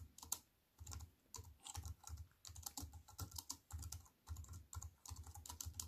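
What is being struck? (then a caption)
Aluminium-framed keyboard with plastic keys. Rapid fingertip typing with long nails on a slim aluminium-framed wireless keyboard with plastic keys. Quick bursts of short, bright clicking keystrokes sit over a soft low thump, with brief pauses between runs.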